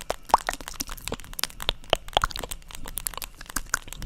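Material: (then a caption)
Plastic. Long acrylic nails tap repeatedly on a black, hand-sized, hollow-backed plastic paddle hairbrush held beside the microphone. The result is a rapid, irregular stream of sharp, dry clicks and crackles with a hollow plastic knock centered near 900 Hz. Each tap dies away almost instantly, and bright high-end ticks cut through a faint low background.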